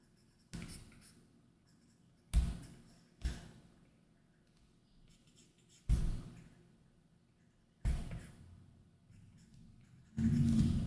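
A plastic stylus tip makes short line strokes and taps on a large iPad Pro's solid glass screen covered with a matte plastic screen protector. Six soft, dull, low-heavy taps and scratchy strokes land with quiet pauses between them, each dying away quickly, with a longer rubbing stroke at the end.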